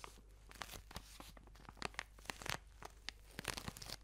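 A long white product tube wrapped in clear crinkly plastic film is held in the hands and squeezed and scratched with long nails close to the microphone. Soft, bright crinkling and tearing-like rustles come in uneven bursts, with short sharp crackles peaking over a quiet steady hiss.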